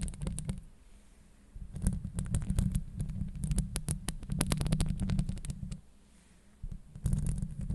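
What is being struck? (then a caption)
Steel mesh microphone grille. Long acrylic nails on one hand grip and scratch the hollow steel mesh grille of a Blue Yeti microphone. The result is a deep, boomy rumble with a dense run of sharp, bright clicks and scrapes. It comes in bursts, with quieter stretches near the first and sixth seconds.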